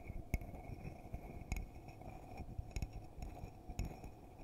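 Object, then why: Glass coffee mug tapped with fingertips and nails. A hollow red glittery glass coffee mug, held in both hands, is tapped on the outside with fingertips and nails. Quiet, short clinks and taps ring briefly with a faint tone near 700 Hz and a bright overtone. A low, steady rumble sits underneath.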